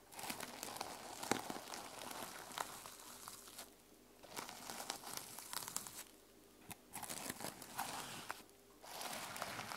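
Long nails scratch across the plastic sequin cover of a closed notebook resting on a table. The result is a dense, bright, crinkly rustle dotted with sharp little clicks, coming in bursts separated by three brief near-silent pauses.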